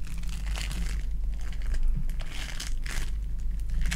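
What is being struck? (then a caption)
Foam bead clay ball. A lilac foam bead clay ball is crushed and kneaded in the hand with fingers and long nails. Bursts of bright, crinkly crackling and squishing rise and fall continuously over a steady low hum.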